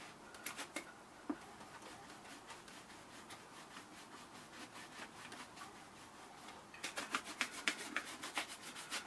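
A horsehair shine brush is rubbed back and forth over the upper and welt of a polished brown leather Thursday Boots President ankle boot, hollow and empty and held in hand, with a second boot standing still nearby. Quiet, bright, bristly swishing strokes repeat at an uneven pace, growing louder and sharper for the last couple of seconds.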